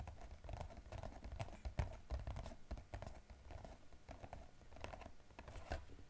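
Fingertips and nails tap quickly on the top and sides of a small blue-and-white striped glossy cardboard box from an EOS set, held in both hands. The taps are quiet, dull and hollow with a low thump, and brief sharp clicks break through now and then. Each tap dies away almost at once in a steady, uneven patter.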